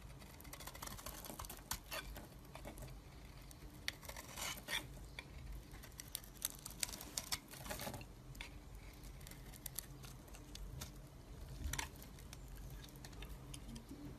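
A metal blade scrapes shavings off a solid, rectangular, hand-held pale green bar of soap. The result is a quiet, steady run of dry, crisp scraping and crackling bursts with a bright, sharp edge, over a low, constant hum.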